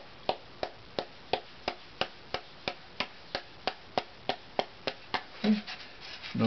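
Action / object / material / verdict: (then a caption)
tap / unvarnished spruce violin top plate / spruce / none. A thin, loose, unvarnished spruce violin top plate with f-holes is held in one hand and tapped and rubbed with the fingertips. About sixteen short, dry taps ring briefly around 720 Hz at a steady pace. The tapping then gives way to soft, brushing rub sounds at the end.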